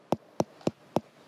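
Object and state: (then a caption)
Ripe melon. A melon is knocked five times, and each knock gives a short, dull thud centred around 590 Hz that dies away almost at once. The dull sound shows the melon is ripe, unlike the ringing sound of a green one.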